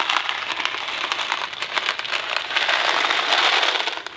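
A thin cardboard Kraft macaroni and cheese box filled with dry pasta is gripped in one hand and shaken and tilted, so the pasta rattles inside. The result is a steady, bright, crackling rattle with no low end, swelling a little past the midpoint before fading at the very end.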